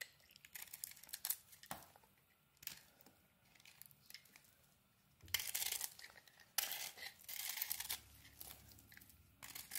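A metal blade peels and scrapes a solid, crumbly white soap bar with a pink coating, making bright, dry scraping and crisp crumbling sounds. Soft, scattered scrapes in the first half give way to louder, sustained shaving strokes later on.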